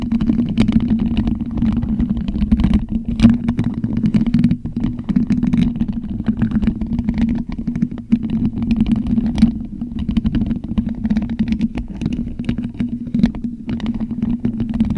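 Plastic skeleton fingertips scratch and rub a black hollow metal mesh microphone grille, making a continuous dense scratching with a steady low hum around 230 Hz. Faint bright clicks and scrapes flicker over it throughout.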